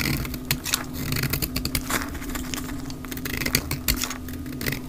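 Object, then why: Soap bar shaved with a knife blade. A mint-green dry soap bar is shaved along its rounded edge with a utility knife blade, flakes falling onto a pile, played at double speed. Quick, bright, crackly scrapes and dry clicks come in a dense run over a steady low hum.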